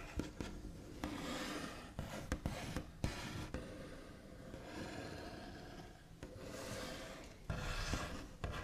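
The backs of long nails rub and scratch across a solid, flat, white-finished wooden tabletop. Soft, steady rasping strokes alternate with sharp little taps, and low, dull thuds come from the board beneath.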